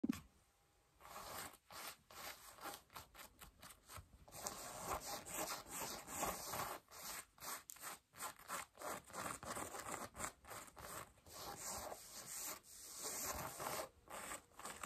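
Long acrylic nails and fingertips scratch and rub light beige cotton denim jeans being worn, moving over the front and thigh of the fabric. After a brief quiet start, quick, irregular strokes make a dense, bright, scratchy rasp that swells and dips with each pass and has little low end.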